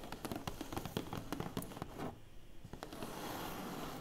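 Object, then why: Large flat cardboard box lid. Long painted fingernails tap and scratch on the closed, hollow lid of a large flat black cardboard box, producing a rapid run of sharp, dry clicks with short hollow thuds. After about two seconds the tapping pauses briefly, then gives way to a steadier, brighter scratching texture.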